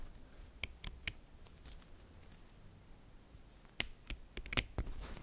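Fingertips and nails pull apart, snap together and click a chain of small, solid, green-coated neodymium magnetic metal balls. Sharp, bright little clicks come in a few early taps, then a busier cluster toward the end, over a quiet, faint rustling background. Each click stops dead with no ring.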